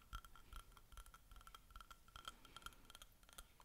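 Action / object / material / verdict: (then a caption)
tap / ceramic mug tapped by fingernails / ceramic / none. Fingers and nails tap irregularly on the outside wall of a small, hollow white ceramic mug, partly full of tea and held in both hands. The result is a quick run of short, bright clinks with a clear ring around 1.3 kHz that dies away almost at once, over faint low rumble.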